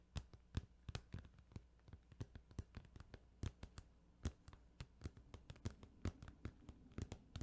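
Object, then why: Plastic video game case. Fingers... no: a plastic Final Fantasy 8 video game case is tapped in a quick, uneven series of soft, dry taps. Each tap gives a low, muffled knock with a brief bright click and no ring, over a faint steady low hum, the whole clip staying quiet.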